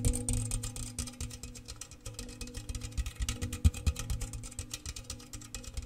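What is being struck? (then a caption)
Round metal biscuit tin. Fingertips and nails tap fast on an open, empty, medium-sized round metal gingersnap biscuit tin, held hollow in one hand near the mic. The taps come in a dense, uneven flurry with a deep, booming hollow resonance and short bright clicks on top.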